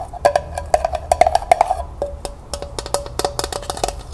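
Long nails rapidly tap the hollow sides of a small, empty, striped glossy tin pail held horizontally. The result is a quick, uneven string of short, bright clicks with a hollow metallic tone that rings only briefly, growing a little sparser toward the end.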